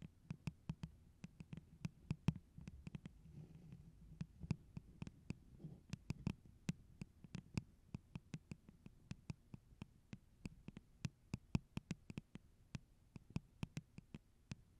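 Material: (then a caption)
Plastic. Long orange stiletto nails and fingertips tap rhythmically on the sides of a tall, clear, pineapple-print plastic tumbler, hollow and empty and held over the microphone. Dozens of quick, dry taps each give a sharp click with a short, hollow low thump, dying away almost instantly over a quiet, low background.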